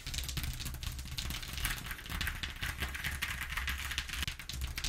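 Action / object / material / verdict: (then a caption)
scrape / corrugated cardboard sheet / cardboard / none. Long nails on both hands tap and scratch rapidly across the ridges of a flat corrugated cardboard sheet lying on a table. The result is a dense, continuous stream of quick, dry clicks and bright scratchy rasps over a low rumble, steady throughout the clip.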